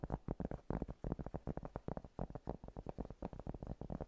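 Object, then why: Piece of cork. Fingernails tap rapidly on a piece of cork, about 27 quick, distinct taps over four seconds. Each tap is a soft, dull, low-pitched knock that dies away almost instantly with no ring.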